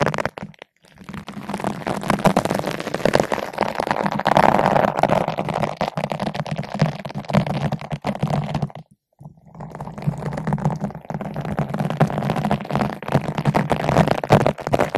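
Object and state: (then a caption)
Foam microphone windscreen brushed. A long bottle brush with green and white nylon bristles, held in both hands, is rubbed back and forth across a large yellow-pink foam ball windscreen fitted over a microphone. It makes a dense, continuous scratchy rustle with a low hum underneath, going briefly quiet near the start and again around the nine-second mark before resuming.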